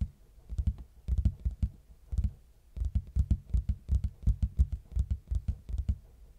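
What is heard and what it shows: Fingertips knock and tap on the face of a large, plain, hollow red cardboard box held at an angle. The result is a run of dull, low, boomy thuds that die away almost at once, coming in uneven clusters with short pauses between them.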